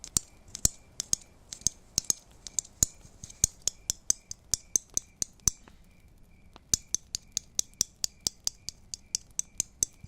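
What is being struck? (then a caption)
Christmas tree ornaments. Christmas tree ornaments are tapped in a quick, uneven series of sharp, bright clicks. Each tap is very short and high-pitched with a faint light rattle. The taps pause briefly around the sixth second, then resume.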